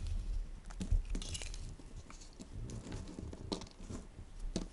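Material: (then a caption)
Soap. A solid white bar of soap is shaved with a green plastic peeler in repeated scraping strokes. Soft, dry crinkling and crunching scrapes come in short bursts over a low rumble, each stroke with a brief bright rasp.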